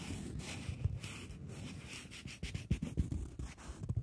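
A polymer £20 banknote, plastic and folded into a narrow strip, is scratched and tapped with long fingernails. A soft, steady, low-weighted scratching rustle fills the first half, then gives way to a series of sharper, quick taps with faint bright crinkle.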